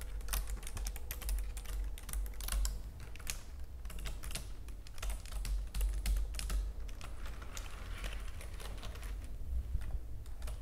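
Fingertips and long nails, with gems on the hands, type and tap rapidly on the keys of a white plastic computer keyboard. The result is a dense stream of short, crisp clicks and clacks over a steady low hum.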